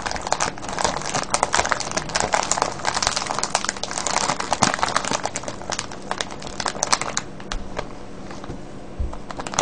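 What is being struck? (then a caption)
Clear plastic cellophane bag filled with wrapped candies. Fingertips squeeze and crinkle a full, clear plastic cellophane bag of wrapped candies, making a dense run of sharp, bright crackles and crinkles. The crinkling is busiest through the first seven seconds, then thins to softer, scattered crackles with a few louder ones near the end.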